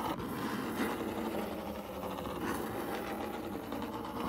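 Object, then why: Corrugated cardboard box. Short fingernails on both hands scratch quickly across the side of a large, hollow, brown corrugated cardboard box. The result is a steady, rapid, dry rasping with a low hollow body, holding an even level for the whole clip.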